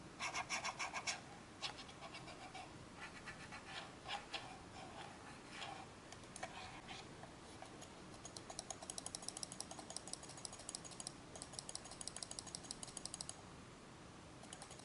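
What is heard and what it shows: A small hollow black plastic Logitech G100s gaming mouse is held in the hands while fingertips and nails tap and scratch its ribbed plastic top and sides. Bright, crisp scratching bursts open the clip, then give way to softer rubbing before a long run of quick, dry, clicky taps. The sound is quiet and close, with almost no low end.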